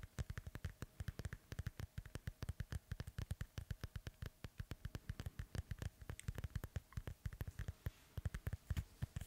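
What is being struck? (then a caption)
Synthetic leather soccer ball. Fingernails scratch and tap the panels of a hollow, inflated synthetic leather soccer ball beside the mic. A rapid, continuous run of short, dull low thumps stays quiet throughout, each dying away almost at once, with faint scratchy high ticks between them.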